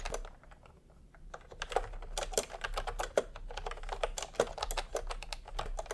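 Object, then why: Plastic keyboard with round keycaps. Fingertips type on a full-size retro keyboard with a peach plastic case and round typewriter-style plastic keycaps. A few taps come first, then a short quiet gap before a steady, uneven run of quick, dry plastic clacks. Each keystroke snaps bright and dies away almost instantly.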